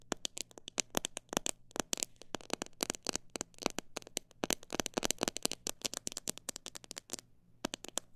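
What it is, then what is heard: Plastic jar of bird seed, tapped. Long black nails tap and scratch the outside of a hand-held clear plastic jar full of mixed bird seed and grains. Many sharp, dry, bright clicks come in irregular fast and slow runs, with faint scratchy rustles between them over a low steady hum. There is a brief pause near the end before the tapping resumes.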